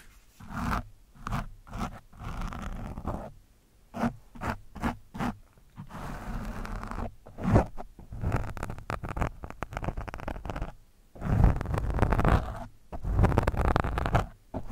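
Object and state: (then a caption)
Foam microphone windscreen scraped. A metal screwdriver shaft scrapes and pokes an orange foam windscreen on a microphone. Short, dull pokes come first, then longer scratchy, rustling scrapes. The sound is muffled and bass-heavy with little brightness.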